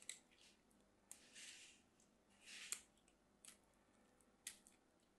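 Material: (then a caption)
Soap. A thin solid piece of pink bar soap, held in the fingertips, is carved with a small craft knife. Six quiet, crisp cuts are heard, bright and dry with almost no low end. Short sharp clicks alternate with two longer scraping shaves.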